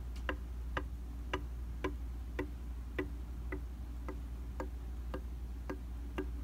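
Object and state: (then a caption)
Glass makeup mirror. A rubber-tipped tool held in the hand taps repeatedly on a dry, round glass vanity makeup mirror. Short, crisp ticks come at a steady pace of about two per second over a low, constant hum, each dying away almost at once.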